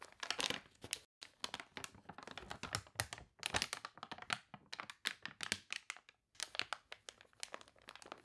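Long nails scratch and rub the wavy, glossy pages of a water-warped paper toy catalog, then turn a page. The result is dense, bright crinkling and crackling with sharp, dry bursts and almost no low end, broken by brief silent pauses near 1 and 6 seconds.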